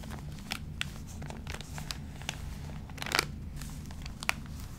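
Fingertips rub the wrinkled pages of an open, crinkled, water-damaged paper magazine, then the hands turn a page. Dry crinkling and sharp, bright paper crackles pop out over a steady low hum, with a louder rustling crunch as the page turns.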